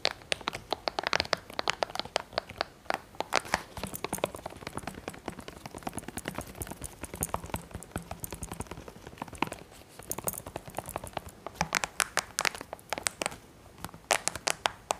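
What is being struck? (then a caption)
Plastic TV remote control. Fingertips and nails, with rings on the fingers, tap and click the rubber buttons and coloured keys of a handheld black plastic TV remote with a hollow housing, and scratch along its casing. Rapid, dry, bright clicks and taps come in quick bursts throughout, with softer scratchy rustling between them and almost no ring after each click.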